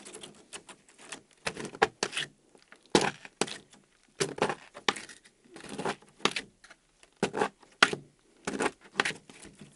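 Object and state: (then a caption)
Gel slime being scraped. A small soft mound of translucent yellow DAISO gel slime on a white table is lifted, folded and scraped with a thin pink plastic scraper card while the fingertips of the other hand pinch it. The result is a series of short, wet squishing and scraping bursts with bright, crackly tops and brief quiet gaps between them.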